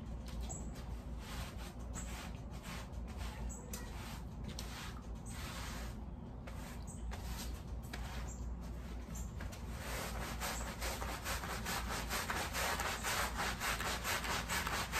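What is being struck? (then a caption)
Woven pile rug scrubbed with a bristle brush. A wet, sudsy, patterned woven pile area rug lying on a plastic sheet is scrubbed with a long wooden-handled push brush with black bristles. Rapid, repeated wet bristle strokes make a continuous swishing, frothy hiss over a low steady hum. The scrubbing grows louder and brighter toward the end.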